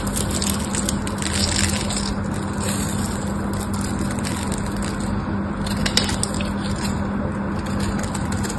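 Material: Soap.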